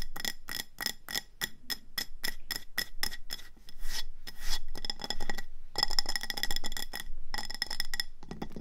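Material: Ceramic.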